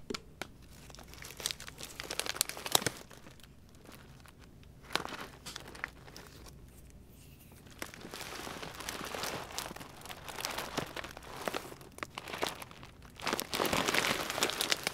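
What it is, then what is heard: Plastic dog food bag. Fingers rub and scratch a full yellow Pedigree small dog food bag made of plastic with a stitched seam, and pull at the seam string. Bright, irregular plastic crinkles and scratches come in bursts, with quieter, sparse stretches in the middle before denser, steadier rustling builds toward the end.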